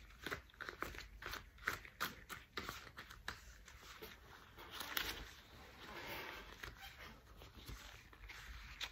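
Thick cream rubber household dishwashing gloves are pulled on and handled, the rubber stretched and rubbed by hands. A quick series of sharp, crackly snaps and crinkles fills the first half, then gives way to a smoother, hissing rub and squeak of rubber with a few lighter taps near the end.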